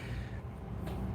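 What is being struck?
Nothing is struck.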